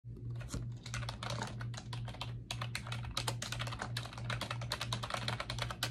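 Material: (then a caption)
Plastic. Fingertips with long acrylic nails type rapidly on a pink plastic computer keyboard with round backlit keycaps, resting on a desk. Dense, irregular bright clicks and taps run continuously over a steady low hum.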